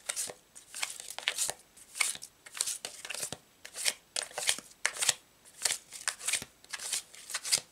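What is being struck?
Deck of thin laminated paper cards.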